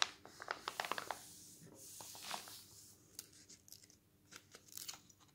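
Fingertips and a palm turn the thin coated pages of an open glossy paper travel magazine lying on a wooden table, then rub them flat. Bright, crisp paper crackles and ticks come in quick clusters between softer sliding swishes as each page lifts, turns and is smoothed down.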